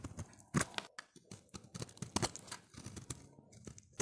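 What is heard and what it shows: A solid, oval, light blue bar of dry soap is held in the hand while its surface is scraped with a utility knife blade. The result is a series of short, dry, crumbly scraping strokes with bright high-frequency grit and little ring, rising and falling in quick irregular bursts.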